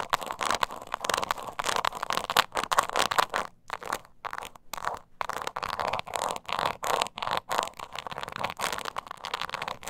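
Long nails scratch the scaly surface of a small, hollow croc-embossed leather mini purse held upright. Dense, crackly scraping comes in quick bursts with brief pauses, alternating between harder and softer strokes. The sound is centered in the midrange around 1.1 kHz with bright edges and almost no low end.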